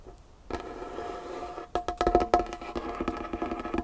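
Long painted fingernails tap quickly on a large, solid, dark wood tabletop. After a brief quiet start, a soft, steady scratchy texture begins, followed by a run of sharp, hollow, woody clicks with a short mid-pitched ring.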